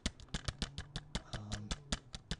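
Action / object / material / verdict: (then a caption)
shake / plastic CD jewel case / plastic / loose. A plastic CD jewel case holding a Steve Miller Band album is shaken, its loose clamshell part making a small jingling rattle. About 14 quick, dry clicks come in an uneven rhythm, each short and bright with a faint low hum underneath. The clamshell is loose, which is what lets it rattle.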